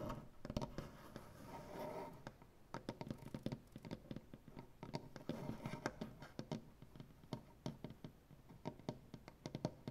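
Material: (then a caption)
Wood. Both hands scratch and tap a solid light wood butcher-block tabletop with dark-painted nails. Short, dry, quickly decaying taps are scattered throughout, with stretches of soft, rasping scratching in between. The overall sound is quiet and woody, centered in the low and middle range.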